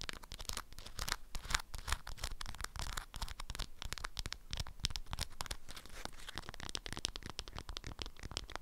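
Long nails tap and scratch a strawberry-print beeswax wrap around a flat object, with the package held upright in both hands. The waxed cotton gives a dense run of dry, crinkly taps and scrapes, each short with a low thump and a bright papery edge.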